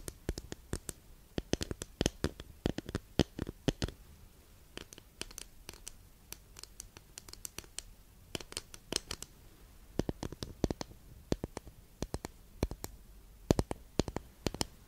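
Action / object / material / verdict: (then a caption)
tap / thin flat wooden incense holder / wood / none. Long nails scratch and tap across the surface of a long, flat, thin, solid wooden incense holder, then the holder is tilted in one hand. The result is a steady stream of short, dry clicks and scratches that decay almost instantly and reach up into bright highs, set against a quiet low background.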